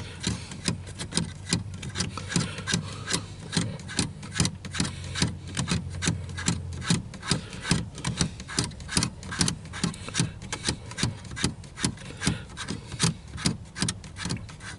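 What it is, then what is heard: Plastic car air vent. Fingertips scratch and rub across the louvres of a grey plastic dashboard side air vent beside the steering wheel, a hollow slatted grille. The result is a fast, uneven run of dry, raspy scrapes, each with a short, clicky attack over a low, hollow rumble.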